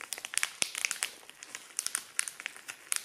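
A thin, shiny, clear cellophane-like plastic treat bag, hollow and empty, is held in both hands and crumpled and crinkled with the fingertips. It makes a rapid, irregular run of sharp, bright crackles and crinkles, concentrated in the high frequencies with almost no low end and no ring after each snap.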